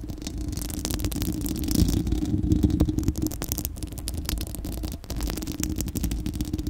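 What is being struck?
Steel mesh microphone grille.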